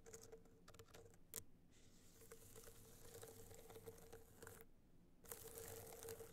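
A gold rhinestone-studded hard-shell clutch is held in both hands while long nails tap and scratch its studded face. The sound is a quiet, dry patter of quick clicks and bright scraping, with a few sharper taps and short bursts of hissy scratching, over a faint steady low hum.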